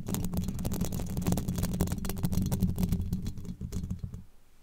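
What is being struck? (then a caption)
Steel mesh microphone grille. Very long pointed black nails scratch and tap rapidly across the hollow, domed steel mesh grille of a microphone. The irregular clicks and scrapes sit over a dense, boomy low-end rumble with a steady low tone. The sound fades out quietly in the last half second.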